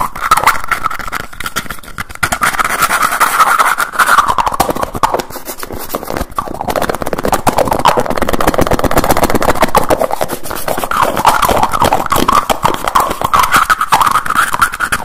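A small dark blue jar with a teal screw lid, likely plastic, is held close to the recorder while the lid is quickly opened, closed and tapped with the fingertips. The result is a fast, steady stream of crisp clicks, taps and scraping twists with a hollow, ringing tone around 1 kHz, continuing for about fifteen seconds.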